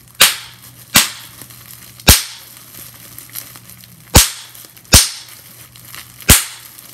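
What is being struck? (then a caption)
Plastic bubble wrap sheet. A clear plastic bubble wrap sheet has its bubbles popped by pinching with long-nailed fingers. Six sharp, bright snapping pops and one fainter one ring out at irregular intervals, each dying away almost instantly. Faint plastic crinkling and a low steady hum sit underneath.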